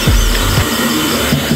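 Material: Nothing is struck.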